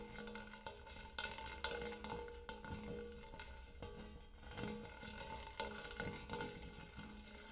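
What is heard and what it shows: Fingernails tap and scratch the dimpled surface and rim of a large, empty, hammered brass-colored metal bowl. Quiet, bright metallic ticks and scraping come in an irregular series, each tap leaving a brief ringing tone around 470 Hz over a steady low hum.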